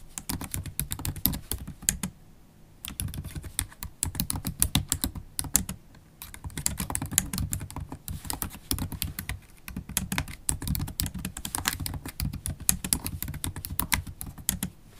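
Fast typing with long stiletto acrylic nails and fingertips on a MacBook Pro laptop keyboard, its low-profile black plastic keys set in a silver aluminum body. Rapid bursts of bright, crisp clicks and tapping ride over soft low thumps, broken by a few brief pauses.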